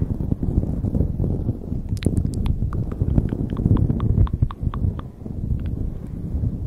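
Long nails scratch and rub the surface of a light blue knit beanie pulled over the microphone. A dense, low, muffled rustling fills the whole clip, with a run of short, bright scratchy ticks in the middle section.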